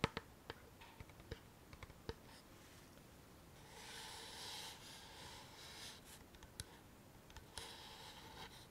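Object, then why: Small faux-leather covered chest box with metal fittings. A small hollow chest-shaped box with a patterned faux-leather covering, metal clasp and studs is held up and tapped and scratched on its curved lid with long nails. Sharp, dry clicking taps come first, then a soft, bright scratching hiss in the middle, with a few more taps toward the end. The sound stays quiet and close, with no ring after each tap.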